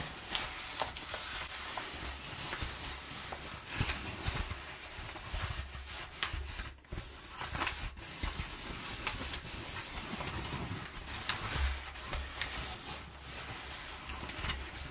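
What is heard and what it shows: Fingertips and long nails rub and scratch the surface of crumpled, perforated brown kraft paper packing padding. The result is a continuous crinkly, papery rustle with scratchy hiss in the highs and a soft low rumble. Sharper scraping accents break through at intervals.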